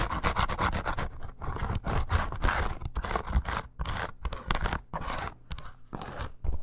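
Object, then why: Embossed faux leather bracer. Long nails scratch quickly along the surface of a curved red snake-embossed faux leather bracer with eyelets. Dense, rapid rasping strokes come in uneven bursts with brief gaps. The scraping has a heavy low-end thump beneath a grainy, textured upper layer.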